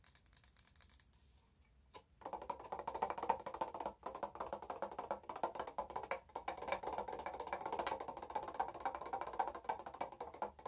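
A wide glass candle jar filled with orange wax, with a clear lid, is held up and tapped with long nails. After about two seconds of faint, sparse taps, a steady rapid flurry of short, dry clicks begins, each with a brief mid-pitched glassy tone near 900 Hz. The taps die away almost instantly.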